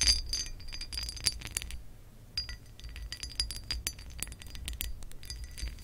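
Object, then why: Pressed glass lamp base. Nail tips tap a textured pressed glass lamp base, then long nails scratch across its ridged surface. Bright, glassy clinks with very short rings mix with dry scraping bursts. A faint low rumble sits underneath throughout.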